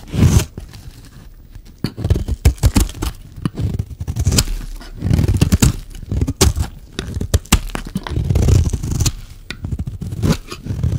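A solid, dry, oval red bar of soap held in the hand has its edge scraped with a metal utility-knife blade. The result is a run of dry, crunchy scraping strokes, mostly low and dull in tone, coming in irregular bursts with brief quiet gaps between them.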